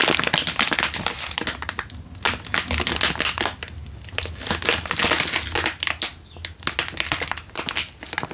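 A single full Indomie instant noodle packet in a crinkly plastic wrapper is held in one hand and crinkled with the fingertips. Dense, bright crackling and crinkling bursts fill the whole clip, with a few brief quieter gaps and a faint low rumble underneath.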